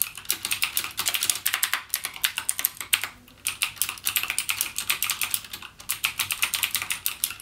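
Fingertips type continuously on a full-size backlit mechanical gaming keyboard with plastic keycaps and clicky Cherry MX Blue switches. Rapid, bright, sharp clicks follow one another in quick bursts, each dying away almost instantly, with brief pauses near the middle and later on.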